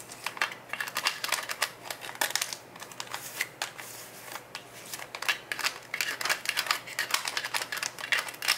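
Fingertips and nails scratch and tap the yellow plastic lid of a full, clear plastic gummy vitamin jar. The result is a dense run of bright, dry clicks and scratchy rasps that cluster in quick bursts, with quieter gaps around the middle.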